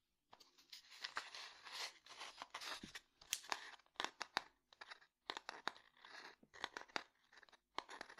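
A small, closed, rectangular light-wood domino box is tapped and scratched with fingernails. Dry, raspy scratching alternates with quick, sharp taps that die away instantly, all bright and thin with almost no low end.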